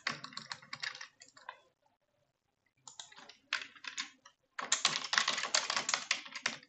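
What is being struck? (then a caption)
Plastic computer keyboard. A full-size dark plastic computer keyboard is typed on quickly with long French-manicured nails and fingertips, giving rapid, bright key taps and clicks. The typing comes in bursts, broken by a quiet pause near the middle, and ends in a dense, faster flurry of taps.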